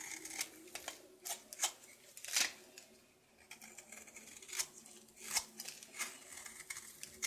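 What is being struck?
Bar of soap carved with a knife.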